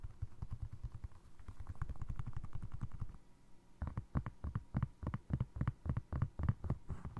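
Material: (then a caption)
Foam resin. A single navy blue foam resin Crocs clog with holes is held up and tapped with fingertips and short nails on its side and toe. The first half is a quick run of soft, dull, low thumps. After a brief lull, the taps turn crisper and more spaced out, with short, dry clicks that die away instantly.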